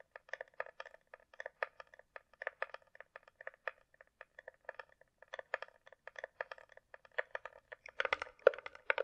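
Long nails tap rapidly on the underside of a closed, hollow hard-shell glasses case with a glossy coated shell, likely plastic, held in the air. Dozens of light, hollow clicks ring briefly around a midrange tone, ending in a denser, louder flurry.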